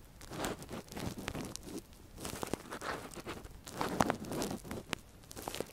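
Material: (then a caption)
Silicone. A thin metal earpick scratches inside the ear canal of a silicone ear model, held in a gloved hand. The result is a quiet, close run of crackly scraping and crunching rustles in uneven bursts, with occasional sharper clicks.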